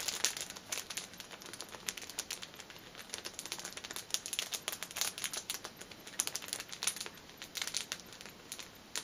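Fingernails scratch the top and sides of a six-pack of pocket tissues wrapped in clear cellophane film, standing upright. The result is quiet, dense, bright crinkling with rapid, scratchy bursts and almost no low end.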